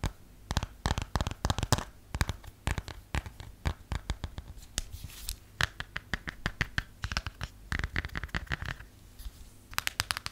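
Long nails tap rapidly on a plastic phone case, first while it is held and then once it is laid flat, producing clusters of short, dry clicks and scratchy taps. The bursts come in quick runs with brief pauses, and each tap dies away almost instantly.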